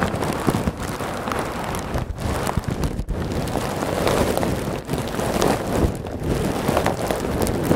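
Fingertips and nails press, squeeze and scratch a large clear plastic bag full of small white polystyrene foam beads placed behind the microphone. The result is a dense, continuous crackling rustle with a soft shifting hiss of beads, staying at a fairly steady level with a few brief dips. The rustle has a full low body and a faint bright edge.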